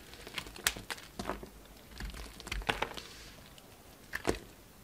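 A solid pink soap bar with a red rim, held in the hand, is shaved and scraped with a utility knife. Short, dry, bright crackling scrapes come in uneven bursts as flakes come off, with quiet pauses between them.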